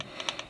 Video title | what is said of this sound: Ty Tessmann Pro Tip: Gear Mesh | what you're looking for is that little knock there you hear that knock